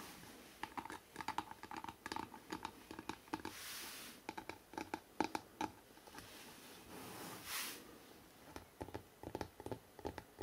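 Fingertips tap quickly on the cover of a hardcover book printed with a city photo, making dry, short knocks with a hollow midrange tone. The taps come in fast bursts and pauses, and brief soft rustling swishes sound around the fourth and seventh-to-eighth seconds.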